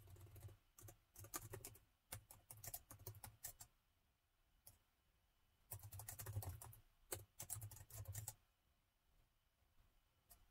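Fingertips type on the plastic keys of a gold metal laptop keyboard, producing repeated key taps. Quick, soft clicks come in uneven bursts separated by short pauses, each tap a dull low thud with a bright tick on top. The taps stop quickly with no ringing tail.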